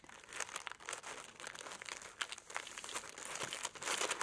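A thin sheet of red tissue paper lying flat on a black table is folded and crinkled by fingertips with long nails, possibly around a small crystal hidden inside. The result is a quiet, continuous, dry crinkling with bright, papery crackles and no low end, swelling slightly louder toward the end.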